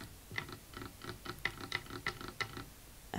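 A fingernail taps on a wooden table in a quick, uneven run of short, dry taps. Each tap is a bright click with a faint low knock beneath it, and the clip ends on a louder tap.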